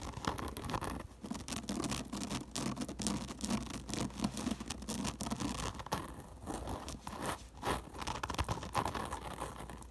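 Long nails rapidly scratch and tap the hollow woven crown of a woven paper/straw sun hat lying upside down on a table. The result is a dense, dry, crackling scratch with quick, short taps that fade almost instantly.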